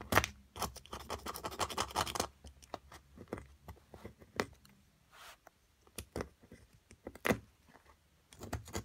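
A small solid plaster block from an amethyst crystal excavation kit, held down with long nails, is scratched continuously with a metal carving pick. A dense burst of gritty scraping fills the first two seconds, then gives way to scattered short scratches and sharp, bright clicks with brief quiet gaps between them.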